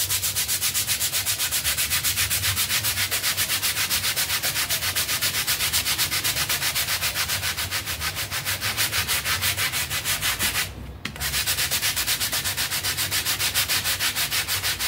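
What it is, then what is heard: Soapy pile rug being scrubbed. A stiff-bristled hand brush with a red handle scrubs a half-round textile pile rug with a blue pattern, covered in white foam. Rapid, rhythmic back-and-forth strokes make a bright, hissing scratch that runs steadily, with a brief pause near the eleventh second before resuming.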